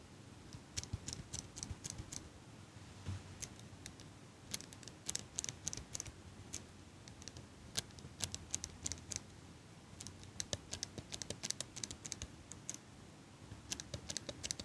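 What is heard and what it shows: A small metal eyelash curler is held close to the mic by fingers with long pink nails, its hinged handles clicking rapidly in quick bursts along with light nail taps. The clicks are sharp, bright and very short, with almost no ring, over a faint low hum.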